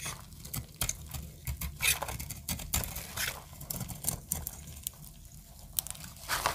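A metal utility-knife blade carves a solid white oval bar of dry soap held in the hand, shaving it into crumbly flakes. Quick, dry, crunchy scrapes and crackles follow one another closely, each bright and sharp with almost no ring. A soft low rumble sits underneath.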